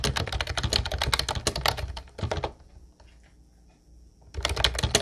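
Both hands type with their fingertips on a mint-blue plastic Ubotie retro typewriter-style keyboard with round white keycaps, making rapid, bright, clacky key clicks. The typing stops for almost two seconds of near-silence with a faint high steady tone, then resumes just as quickly.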